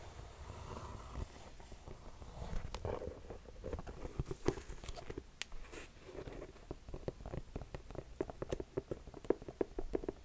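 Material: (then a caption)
Mesh, rubber. Long painted nails tap and scratch the upper of a hollow, empty black mesh running shoe with pink laces and a white foam/rubber sole, held in hand. Soft, dull scratching and brushing give way to sharp, brief clicking taps once the shoe is turned to the sole, with the taps growing more frequent toward the end.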